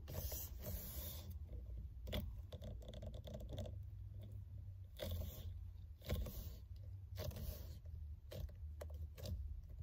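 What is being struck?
Faux leather steering wheel cover.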